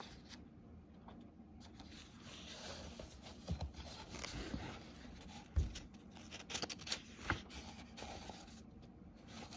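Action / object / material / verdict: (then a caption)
scrape / paper book pages / paper / none. An open book with paper pages is handled by hand: a page is lifted and turned, and fingertips rub across the printed paper. Quiet, dry rustling and scraping sit over a low background rumble, broken by a few sharp papery crackles and flicks in the middle of the clip.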